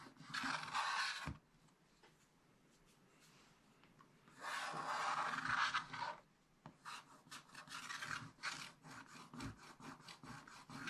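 A wooden stylus scratches wide strokes across the upper middle of a black-coated scratch-art page in a spiral-bound book. Two long, dry rasping scrapes with a bright, hissy texture are separated by a quiet pause, followed by a quicker run of short scratching strokes.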